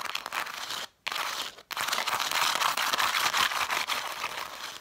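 Long dark nails quickly tap and scratch along a stack of red cloth-bound book spines with gilt lettering. The result is a dense, bright, crinkly scraping with rapid light taps, broken by two brief silences near the first and second seconds.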